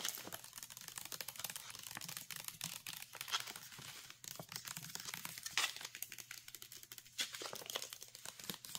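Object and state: Soup pouch.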